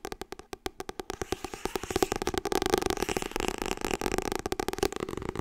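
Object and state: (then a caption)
Hardcover book. Long red nails tap and scratch the glossy printed cover of a medium-size, solid Harry Potter hardcover book. Quick, crisp, separate taps open the clip, then blur into a dense run of rapid tapping and scratching before sparser taps return at the end. The sound is dry, with a mid-pitched knock around 375 Hz and almost no ring.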